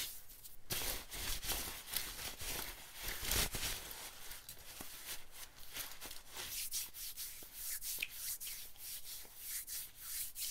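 A hand rubs and scratches the sleeve and shoulder of an olive-green nylon bomber jacket. The result is a steady, bright, hissy swishing broken by short scratchy strokes.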